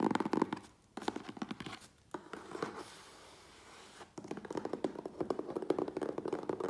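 Fingertips and nails tap and scratch the sides of a hollow, medium, closed corrugated cardboard USPS Priority Mail box held on a wooden table. Rapid bursts of hollow, papery taps centered around 300 Hz are broken by short pauses, with a quieter, softer scratching stretch in the middle. Dense, fast tapping then resumes to the end.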